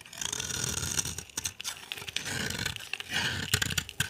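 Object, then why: Bar of soap scraped with a knife. A utility knife is scraped along the edge of a solid, dry, cream-white embossed bar of soap held in the hand, carving off dry flakes that pile up. Repeated bright, crisp scraping rasps come in short bursts, broken by sharp clicks and faint low rumble, with no ring after each stroke.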